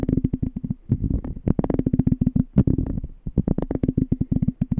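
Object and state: Glass jar.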